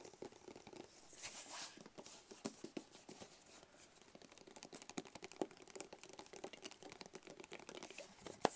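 A small, rigid, hollow black cardboard box is held in both hands and tapped quickly with fingertips and nails. The result is a dense, quiet patter of light, crisp clicks and soft scratchy rustles with a papery, hollow tone. A slightly louder swish comes near the start and a sharper click at the very end.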